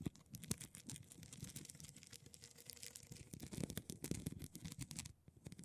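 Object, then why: Plastic rhinestone mesh sheet scratched and tapped with long nails. Long pointed purple nails scratch and tap across a thin, solid, flat rectangular plastic rhinestone mesh sheet of small silver rhinestones lying on a holographic glitter surface. The result is a quiet, dense stream of crisp, crackly scratching broken by rapid sharp clicks and taps. The sound is bright on top with a soft low thud beneath, and it briefly thins out near the end before the tapping resumes.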